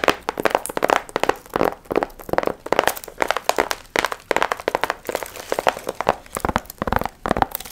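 Long nails scratch and crinkle the gold foil fringe on a medium, hollow paper pumpkin piñata. Bright, papery crackles and rustles come in quick, dense bursts with brief pauses between them, each one stopping dry with almost no ring.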